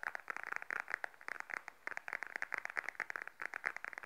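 Long nails tap and scratch the surface of a small, beige, glossy patent faux leather wallet held upright in both hands. The result is a quiet stream of quick, dry, crisp clicks and scratches centred in the upper midrange, with brief scraping between taps. No sound rings on after each tap.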